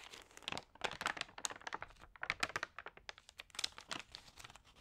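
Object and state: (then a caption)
Damp thin magazine pages crinkling. Hands with long nails rub and turn the damp, crinkled thin pages of an open, water-sprayed thin paper magazine. Dense, bright crinkling and crackling rustles come in quick, uneven bursts with almost no low end, and each crackle dies away instantly.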